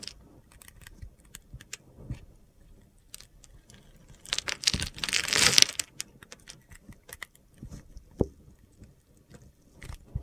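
A metal utility knife blade carves small scored cubes off the surface of a solid, hand-sized blue soap bar with a glitter coating, held in the hand. Scattered crisp, bright ticks and gritty scrapes lead into a louder, dense crunching burst midway. The sound then settles back into short, sharp clicks with no ring.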